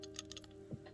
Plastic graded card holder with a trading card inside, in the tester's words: you can hear the card moving around